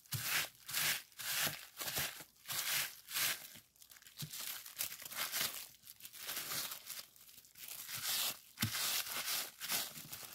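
A clear plastic bubble wrap sheet has its bubbles pressed and popped with fingertips. Bright, crinkly crackles and snappy pops come in irregular bursts, with a faint low thud under some pops. The sheet rustles quietly between the bursts.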